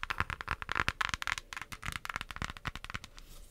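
Long acrylic nails tap and scratch the printed lid of a small, flat, closed pink cardboard eyeshadow palette. A rapid, uneven run of dry clicky taps mixes with crackly scratching, with the energy centered in the mids and reaching into bright highs. Each tap stops at once with almost no ring, and the taps thin out and soften toward the end.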